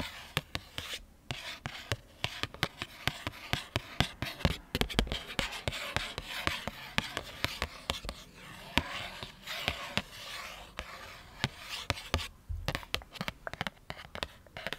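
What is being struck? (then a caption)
Thin cardboard bookmark. A thin, flat, solid printed cardboard bookmark, held upright in both hands near the microphone, is scratched and rubbed with long fingernails. Dry, bright scratching and rasping rubs are broken by many quick, sharp clicks and taps that die away instantly, with a soft low rumble beneath.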